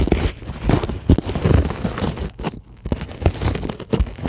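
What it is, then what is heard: Polyethylene foam sheet. Fast scratching with long glittery acrylic nails across a flat white solid closed-cell polyethylene foam sheet. It makes a dense run of dry, crinkly scrapes and short bursts with a low, muffled body and quick decay. There are brief quieter gaps between the strokes.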